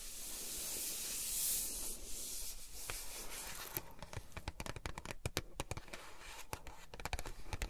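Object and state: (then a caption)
Cardboard box scratched with nails. Long nails scratch and rub the printed surface of a small, flat cardboard packaging box for a tempered glass screen protector. A steady, bright, papery rubbing hiss fills the first few seconds, then gives way to a rapid, uneven series of sharp, dry scratches and clicks.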